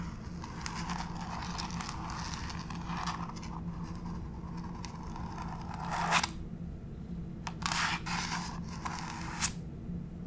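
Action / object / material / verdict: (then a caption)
scrape / wood-look laminate floor / laminate / none. Long pink acrylic nail tips tap and scratch across a flat gray wood-grain laminate plank floor. A steady, dry scratching rustle runs throughout over a low hum, broken by a few sharper, brighter scrapes and taps toward the end.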